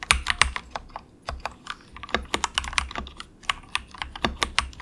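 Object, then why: Plastic mechanical keyboard. Fingertips of both hands type softly on a compact 68-key budget plastic mechanical keyboard with a hollow case, resting on a desk mat. A quick, irregular run of short, bright, clacky keystrokes is heard, each with a faint low thud and almost no ring, with brief pauses between bursts.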